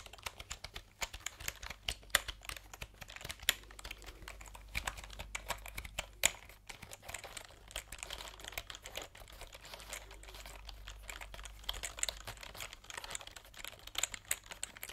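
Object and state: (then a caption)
Plastic computer keyboard. Fingertips type and tap quickly on a white, backlit plastic computer keyboard with round keycaps, held diagonally. The result is a dense stream of short, bright, clicky key taps that stop dead with no ring, over a faint steady low hum.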